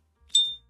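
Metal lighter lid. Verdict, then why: Good ping. An S.T. Dupont lighter's metal lid is flicked open, producing a single bright, high-pitched ping near 3.6 kHz that rings briefly and fades within about a quarter second. This is the proper ping the lighter is supposed to make.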